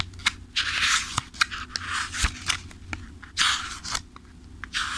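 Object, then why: Paperback book, paper pages. Fingertips riffle and flip the thick paper pages of a paperback book held upright. Bursts of bright, papery rustling swell and fade, broken by sharp little snaps as single pages flick past, over a faint steady low hum.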